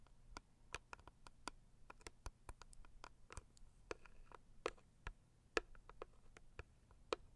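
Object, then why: Cardboard box tapped with fingernails. Long acrylic nail tips tap the lid and front edge of a medium, closed, hollow pink floral cardboard box. About two dozen quiet, dry, clicky taps come at an irregular pace, each dying away almost instantly with no ring. A faint low hum sits underneath throughout.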